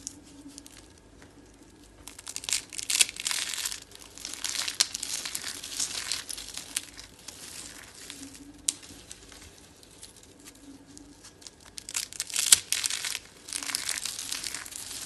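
Fingers with long dark nails crush a dry, solid, brittle white soap spiral rosette of curls into flakes. Bursts of crisp, bright crunching and crinkling come in waves, separated by quieter stretches with a faint low hum beneath.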